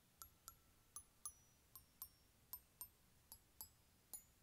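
Fingers tap and scratch the aluminium bars of an open glockenspiel resting in a plastic case, and a hand sweeps across them. Twelve quiet, separate taps are heard, each a short, bright metallic tick with a faint mid-range ring that fades almost at once.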